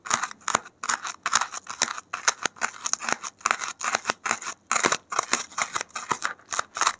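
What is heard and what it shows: A gloved hand keeps scratching and digging with a safety pin into a white expanded polystyrene (thermocol) foam block with loose beads piled on top. It makes a rapid run of dry, squeaky, crackly scrapes in short bursts with brief gaps between them. The sound is bright, centered in the mids, with almost no low end.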